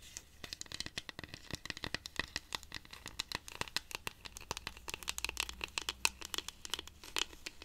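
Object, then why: Dried cactus rainstick. A hollow, dried-cactus wooden rainstick, held upright, is scratched with long pink nails, and its internal pebbles may also rattle. A quiet, steady stream of dozens of short, bright, dry scratching ticks and clicks comes through, with almost no low end. The ticks center around 2.6 kHz and each dies away almost instantly.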